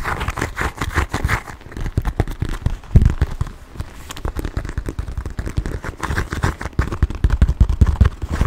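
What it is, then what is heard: Quilted leather handbag. A small black quilted leather handbag with silver hardware is held close to the microphone and tapped and scratched with fingertips and nails. Rapid, dull low thumps crowd together with soft scratchy rustling between them, each tap dying away almost at once, with a slightly louder knock near the three-second mark.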